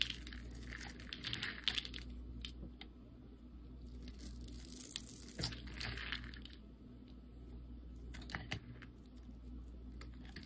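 A dark utility knife blade carves and scrapes small pieces off the scored surface of a solid, orange-yellow translucent soap bar held in hand. Crisp, bright crunching and crackling comes in bursts with sharp little snaps, over a steady low hum.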